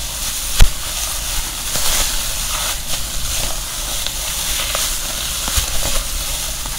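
A medium-sized bag made of silver foil-covered insulating foam is held in both hands and crinkled and rubbed with the fingers. The result is a steady, dense crinkling hiss with a low rumble underneath. Two sharp crackling snaps stand out from it, one near the start and one near the end.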